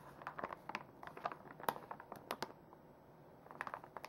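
A full plastic makeup wipes pouch is bent and crinkled in the hands while nails run over the plastic. It makes quiet, dry crinkles and sharp ticking scratches in uneven bursts, with a brief lull near the end before a final flurry of crackles.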